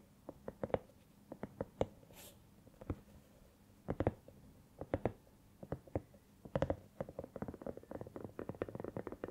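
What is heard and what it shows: A hollow, soft silicone cat night lamp is tilted and held in hands while long nails tap and scratch its rubbery surface. Short, dull, muted taps come in scattered clusters, then grow into a denser run of quick tapping and scratching toward the end. Each tap dies away almost at once, with little high sparkle.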